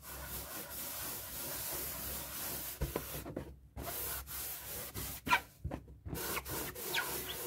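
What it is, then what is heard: Latex balloon being rubbed. A paper tissue is rubbed across the rubber surface of a light blue, hollow, inflated latex balloon held in hands to wipe off ink. The result is a steady, soft, hissy rubbing with bright friction noise, broken by a few brief pauses and sharper squeaky strokes.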